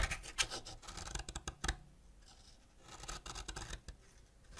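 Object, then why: Wax crayon scraped with a ceramic knife. A white ceramic knife scratches a partly scraped solid purple wax crayon beside a heap of wax powder, making dry, bright rasping strokes in quick bursts. The scraping eases off briefly in the middle, then resumes in another run of short, scratchy passes.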